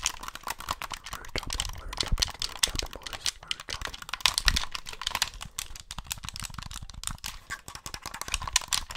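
Fingertips rapidly click the face buttons and d-pad of a white, hollow plastic Xbox gamepad held beside the mic. The result is a dense run of short, dry, bright plastic clicks with some low thumps underneath and almost no ring.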